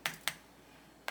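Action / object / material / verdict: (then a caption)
tap / caramelized sugar crust on a sweet roll, tapped with a spoon / caramelized sugar / hard. A gold spoon taps a little rhythm on the hardened caramelized crème brûlée sugar crust topping Hawaiian bun donuts. Three sharp, bright clicks centered near 2 kHz die away almost instantly, with quiet gaps between them. The crisp taps show the crust has set hard, which is judged perfect.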